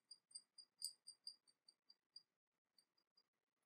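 Long nails tap the sides of a small, hollow, painted porcelain teapot with a dragon motif, held in the hands. Ten quiet, bright, clicking taps come in a quick, uneven run, each with a short high ring. After a pause, three softer taps follow.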